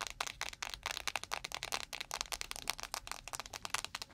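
Long nails tap quickly on a clear plastic, gel-filled ice pack shaped like a panda that stands on the microphone. The result is a rapid, uneven run of crisp, bright clicks with almost no low end and no ring after each tap.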